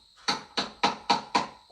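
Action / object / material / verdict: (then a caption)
tap / layer of pressed black-powder firework stars inside a shell, tapped with a small lid / black powder / none. A small pot lid taps five times on the layer of firework stars, hard pellets of pressed black powder, packed inside a hand-made firework shell. Each tap gives a bright, high-pitched click centered near 1 kHz that fades within about a tenth of a second.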